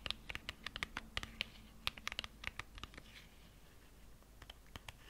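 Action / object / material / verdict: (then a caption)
scrape / small printed cardboard cosmetic box / cardboard / none. A small, slim, hollow gold-printed cardboard lipstick box labeled "Matt Longwear" is held in both hands close to a fluffy microphone and scratched along its surface with fingernails and fingertips. A quick series of sharp, bright scratches and clicks gives way to a softer, steady rubbing in the middle, then a few more crisp scratches near the end.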